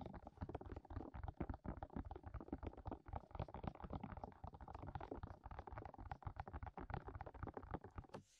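Fingertips of both hands tap and press over the openings of the hollow silicone ears on a white binaural microphone with a black plastic body. The result is a rapid, uneven stream of muffled, deep thumps and soft pressing sounds, close and boomy with almost no bright content. The tapping stops just before the end.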